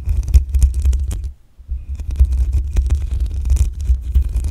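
Long acrylic nails scratch the black metal mesh grille on the hollow head of a desktop condenser microphone. The result is dense, irregular scratching with a deep low rumble and brief bright clicks. There is a short quiet pause around a second and a half before the scratching resumes.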